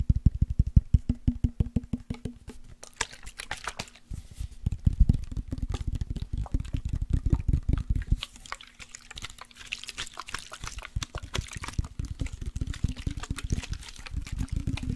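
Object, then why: Glass body-spray bottle. A partly full clear glass or rigid body mist bottle with orange liquid and a white lace print is tapped rapidly with fingertips and nails and tilted so the liquid inside moves. Dense streams of short, dull taps with a deep, thumping body blend with soft sloshing and brighter clicks from the nails.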